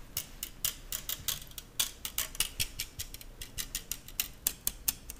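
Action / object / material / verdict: flick / stainless steel balloon whisk / stainless steel / none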